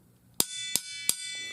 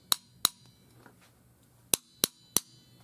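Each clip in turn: First: Three sharp metal knocks ring out bright and high, the sound of an empty, air-filled tank chamber. Second: Five sharp, short knocks on the tank's water side; the sound dies at once, the deadened tone of a water-filled working tank.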